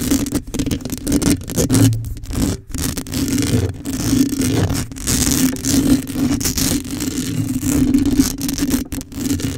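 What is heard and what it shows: Long acrylic nails scratch the top of the metal mesh head on a black condenser microphone. The result is a continuous, dense scraping and rustling with a steady low hum near 270 Hz, and bright, gritty bursts that rise and fall as the nails move across the grille.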